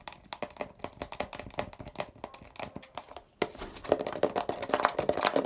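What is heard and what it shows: Fingertips tap and scratch the blue plastic cap and label area of a hollow grey plastic Poliflor furniture polish bottle, producing quick, irregular dry clicks and crinkly scratches with almost no ring. After a brief pause, the scratching turns denser and louder, with a hollow plastic tone around 600 Hz.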